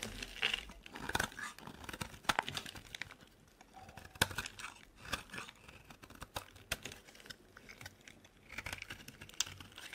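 A metal blade scrapes and cuts into a solid, dry white bar of soap, shaving off flakes that pile up beside it. Crisp, crinkly scraping and brittle crunches come in uneven bursts, with sharp, bright snaps as the blade bites and chips break away. The sound is quiet, dry and high-pitched, with little low end.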